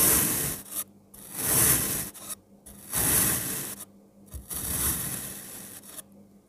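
A speckled pink knife slices through a blue kinetic sand block and then cross-cuts the slices, making four crumbly, rasping scrapes with bright, hissy highs and a soft low rumble beneath, separated by brief silences.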